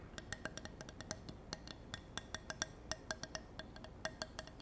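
A handmade wooden block, made by her grandfather, is tapped in quick, irregular succession. The result is a run of short, dry, hollow clicks with a bright ring around 1.6 kHz and almost no decay, like a horse's clip-clop.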